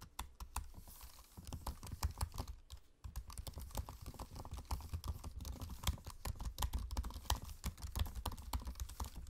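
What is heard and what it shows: Fingertips type on a MacBook-style laptop keyboard with low-profile plastic keycaps set in a space-grey aluminium body. It makes a steady run of short, dry, muted taps with a soft low thump and little ring, pausing briefly near the three-second mark before picking back up.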